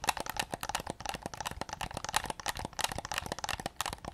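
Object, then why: Hard-plastic game controller shell. Fingertips rapidly tap and scratch the front shell and grips of a white, hollow, hard-plastic PS5 DualSense controller held close to the recorder. The result is a dense stream of quiet, dry, clicky taps with a hollow midrange tone near 800 Hz and bright scratchy edges. Each tap dies away almost instantly.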